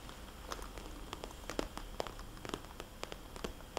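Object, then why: Glossy plastic cosmetics pouch. Long polished fingernails tap rapidly on a small, red polka-dot, glossy plastic cosmetics bag lying flat with a barcode sticker, its pouch hollow. Each tap is a short, dry, crisp click that dies away at once, with a hollow plastic body and a bright edge. A quick, uneven series of taps plays over a soft, steady hiss.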